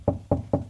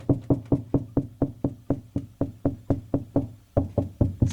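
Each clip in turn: First: solid wall over a stud. Second: hollow wall cavity between studs.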